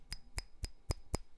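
A funnel-style white clay hookah bowl that looks like rusty iron is tapped five times, giving short, sharp clinks that sound like metal. Each tap is a brief knock with a bright ring that dies away almost at once.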